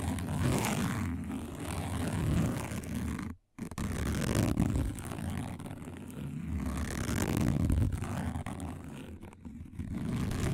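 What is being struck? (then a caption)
Woven plastic placemat. A single fingernail scratches quickly across a round, flat, dark woven plastic placemat. It makes a dense, uneven rasping that is mostly low and rumbly. The scratching stops briefly near the middle of the clip and then carries on.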